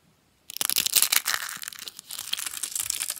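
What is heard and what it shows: A rose of thin, dry, curled green soap is squeezed and crushed in the hands, its solid brittle curls crumbled with the fingers into small flakes on a cloth. After a brief silence, a dense run of bright, dry crackling and crunching starts at about half a second and continues to the end, easing slightly midway.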